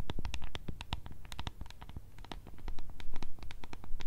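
Long red nails tap and scratch quickly on a small, hollow, clear translucent plastic tub with blue contents and a decorated lid. They make a dense, irregular run of short, crisp clicks and scrapes over a low, hollow thump, and each tap dies away almost instantly.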